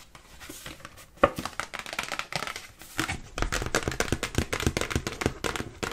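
A dark glossy cardstock greeting card with kitten pictures, opened into a folded shape and held in both hands, is tapped and scratched with long pink nails. Soft scratching and crinkling in the first seconds give way to a sharp tap, then a dense run of quick, crisp papery taps that grows louder in the second half.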